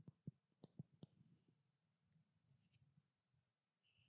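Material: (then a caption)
Glass. Long black nails rapidly tap a small blue-labeled glass treatment oil bottle held near the microphone. Six sharp, short clicks with a low thud land in the first second and a half. Quieter, low tapping and rustling follow to the end.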